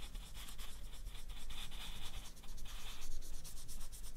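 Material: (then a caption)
Banana peel. A permanent marker is rubbed in repeated strokes over the peel along the lower half of a whole, solid, ripe banana resting on a black mat. The result is a soft, continuous, scratchy rubbing with a bright hiss that swells and fades with each stroke over a faint low rumble.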